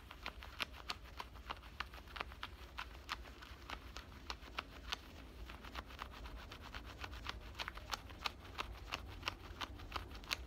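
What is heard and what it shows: Fingernails scratch the pocket opening and seam of worn black denim cutoff shorts, making quick, irregular, bright scratchy ticks over a steady low rumble. The short, dry scrapes come at an uneven pace, about three per second, throughout the clip.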